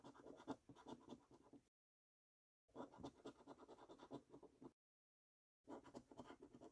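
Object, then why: Paper scratch card with latex coating. A coin scratches the latex-coated panels of a thin paper scratch card, producing quick, dry, rasping strokes. The scratching comes in three bursts separated by short silences, with a soft, papery texture centered in the low-mids and no ring after each stroke.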